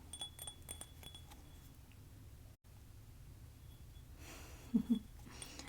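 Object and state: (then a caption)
Ceramic mug. A ceramic Daruma doll cup with a colored rim and a textured scratch detail on its bottom is tapped, giving soft, short clinking taps. The light taps come early in the clip, with a brief silent gap midway, and end with two slightly louder taps near the end over a quiet background.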